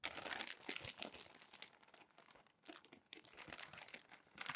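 Fingertips turn and flatten the wrinkled pages of a crumpled glossy paper magazine on a desk. The result is a dense, irregular run of bright, quiet crinkling and crackling bursts with almost no low end. The sound eases off briefly near the middle before picking up again.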